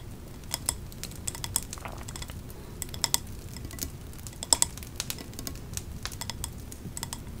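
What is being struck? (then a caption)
Wax-filled glass candle jar. Long nails tap on the glass side of a large 3-wick candle jar, printed with autumn leaves, filled with wax, topped with a metal lid and held in the hands. The taps are short, sharp and bright clicks at an uneven pace, dying away almost instantly over a soft, steady low rumble.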